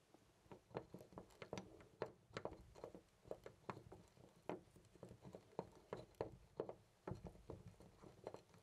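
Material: Brass.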